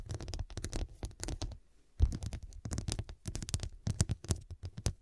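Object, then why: Fabric cushion with faceted glass studs. Long dark nails scratch and tap the square faceted glass studs covering a medium, soft, filled fabric cushion. Quick dry clicks and scrapes come in dense bursts over a soft, muffled low thump. After a brief pause around the middle, a sharper, louder tap restarts the pattering.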